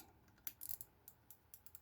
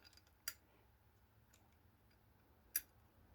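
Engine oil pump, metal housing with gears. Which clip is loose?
The first.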